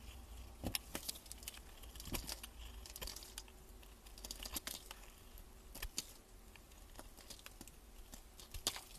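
A solid cream bar soap, held in gloved hands, has its end scraped and crumbled with a metal utility blade. Quiet, crisp scraping and crackling with bright, sharp crumbling clicks sit over a low background rumble. Flakes of soap break away from the bar.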